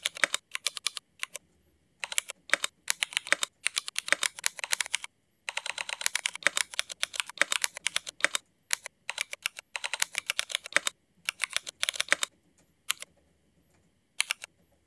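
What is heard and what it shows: A mechanical keyboard with Cherry MX switches and black ABS plastic keycaps is typed on with the fingertips of both hands. Rapid bursts of sharp, bright, clicky keystrokes come in quick runs with short pauses between them, and each press is crisp with almost no ring.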